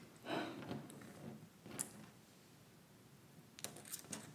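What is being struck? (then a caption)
Plastic press-on nails. Long white plastic press-on nails, small thin hollow shells worn on both hands, are tapped and clicked against each other in front of the chest. A soft rustling swish opens the clip, followed by a sharp bright click and then a quick cluster of light, brittle clicks near the end. Each click is very short and dry over a faint background hiss.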